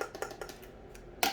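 Light, quick taps on the lid of a Homeworx candle jar bought from QVC, one of the newer, thinner lids rather than the thicker old one. The taps are short, bright clicks with almost no ring, ending in one louder tap. The thin lid sounds almost like plastic, though it is not thought to be plastic.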